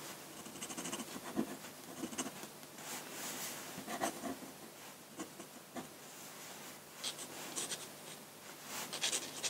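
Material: Paper.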